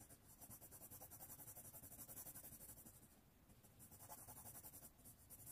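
A red colored pencil rubs back and forth across a thin white paper sheet, held flat by one hand on a wooden tray, while coloring in a flag shape. Quick, steady scratchy strokes at about four per second carry a bright papery hiss, with a brief softer lull just past the midpoint before the strokes pick up again.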